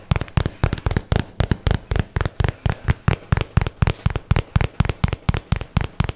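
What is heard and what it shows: A hollow white and teal paperboard box, held in both hands, is tapped quickly with fingertips and nails. About 28 dry, deep, hollow thuds come in a fast, slightly uneven rhythm of roughly four per second, each stopping instantly with no ring.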